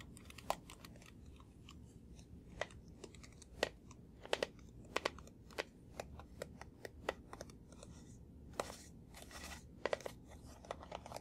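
A small hollow blue plastic box held in one hand is tapped repeatedly with the fingertips of the other. Quiet, sharp, irregular clicks each have a short hollow knock and bright edges, over a low steady hiss. A brief rustling scrape comes near the ninth second.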